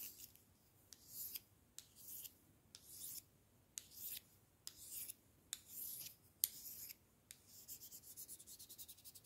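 A pair of thin, solid wooden chopsticks is rubbed together lengthwise by the fingers, giving quiet, bright, dry rasping strokes. Short scraping bursts alternate with sharp clicks and pauses. The clip ends in a run of quick, even rubbing strokes with no ring after each one.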